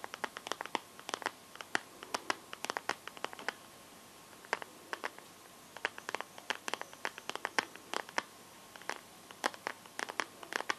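Painted fingernails tap and scratch the back and camera area of a smartphone in a transparent teal plastic case. The sound is a quiet stream of short, sharp, bright clicks in irregular clusters, mixed with light scratchy rubbing, and each tap dies away almost instantly. A faint steady tone sits underneath.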